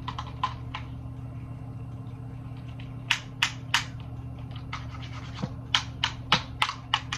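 Fingertips and long nails tap and scratch along the hard plastic headband and ear cups of hollow, handheld black over-ear gaming headphones with green accents. The result is a run of sharp, bright clicks and scratchy ticks at an irregular pace over a steady low hum, with the taps growing louder and closer together in the second half.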